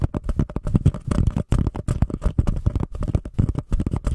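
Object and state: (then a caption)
Paper cup. Long nails scratch and tap rapidly on the sides of a small, empty, white embossed paper cup held over a Blue Yeti microphone. The result is a dense run of short, dull, bassy tapping and scraping with a hollow, muffled tone and almost no ring.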